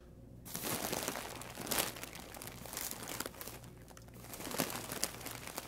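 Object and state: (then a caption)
Plastic mailer bag. Both hands' fingertips and palms press and rub a large white plastic poly mailer bag, full and stuffed with packaged items, lying on a wooden table. After a brief quiet start, a steady bright crinkling and crackling rises, with louder bursts scattered throughout.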